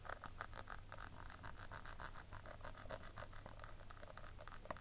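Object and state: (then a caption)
Plastic compact powder case. Long nails scratch the ridged side edge and embossed lid of a small, round, hollow pink plastic compact powder case. Quick, dry, bright scratching strokes follow one another in a steady rhythm, over a constant low hum.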